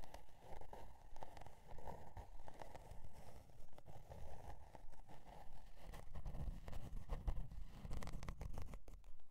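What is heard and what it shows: Long dark nails scratch and tap the scale-pattern cardboard cover of a spiral-bound notebook with metal spiral binding. The result is a quiet, continuous, papery scratching with a steady rhythm of soft, dull taps and a low, rumbly body throughout.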